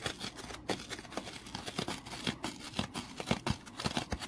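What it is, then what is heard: Foam kitchen sponge being scratched. A small rectangular foam kitchen sponge is held in the hand, scratched with the fingernails and squeezed. The result is a rapid run of dry, scratchy, crinkling rasps with short, bright bursts and soft low thumps over a steady hiss, each sound dying away almost at once.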